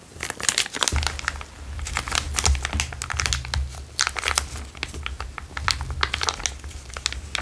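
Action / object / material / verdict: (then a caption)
shake / small plastic zip-lock bag / plastic / none. A small, empty, transparent plastic zip-lock bag is held between the fingers and crinkled and squeezed with the fingertips. The result is dense, continuous crinkling made of rapid, sharp, bright crackles with no ring-out. A steady low hum runs underneath from about the first second on.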